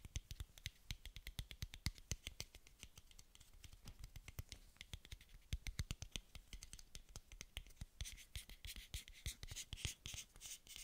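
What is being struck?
Small translucent plastic dose cap.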